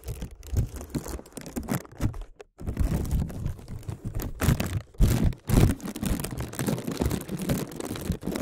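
A clear plastic zip bag is held over a microphone with both hands while fingertips tap and crinkle the plastic film. Fast, irregular tapping and crackling crinkles come through as close, muffled thumps heavy in the low end, with brief pauses near 2.5 and 5.3 seconds.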